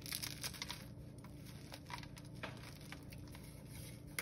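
Bare hands break a thin, dried blue gym chalk (magnesium carbonate) slab and crush and rub its solid, brittle chunks and powder between fingers and palms over a pile on a pink surface. Quiet, crisp crackles and sharp snaps scatter through a soft, gritty rustle, riding over a steady low hum.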